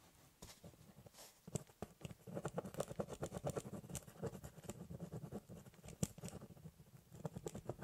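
A ballpoint pen rapidly hatches across the top of a large corrugated cardboard box with quick, scratching strokes. The result is a dense run of short, dry, papery scrapes with a hollow low body that patters steadily throughout.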